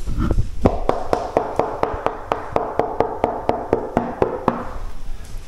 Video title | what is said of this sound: Comment poser des cables chauffants ? | sonne creux derrière le le crépi